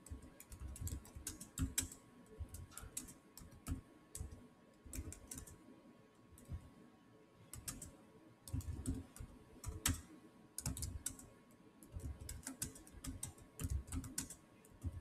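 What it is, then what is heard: Laptop keyboard with plastic keys. Fingertips type fast on the solid keys of a silver Samsung laptop's black plastic chiclet keyboard. Quick bursts of short, dull plastic taps with a soft low thud and a bright click edge alternate with brief pauses, and each keystroke dies away almost at once.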